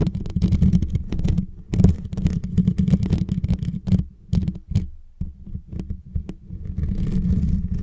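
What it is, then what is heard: Metal microphone grille. Fingertips and short nails of both hands tap and scratch the hollow, rounded metal mesh grille on top of a white Blue Yeti microphone. The result is a steady run of deep, boomy thumps and muffled rumbling, almost all low in pitch, with each tap dying away quickly. Brief, faint high scratchy hiss comes through in a few spots, with short quieter gaps between the bursts.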